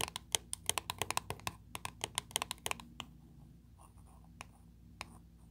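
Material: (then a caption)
Metal. Long, pointed blue nails tap quickly on the lid of a closed, small round 30 ml dark blue metal Nivea creme tin, making a rapid run of sharp, bright, clicky metallic taps. After about three seconds, the nails trace softly across the lid with a faint, quiet scratching, broken by a few more isolated taps.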